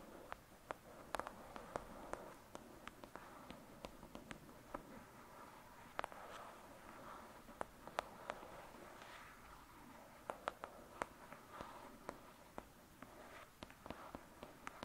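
Long acrylic nails tap and scratch the front cover of a thick, solid "Lady Midnight" paperback book lying flat. Quiet, dry, sharp clicks come in an irregular stream, with a soft papery scratching hiss between them. Each tap stops almost at once.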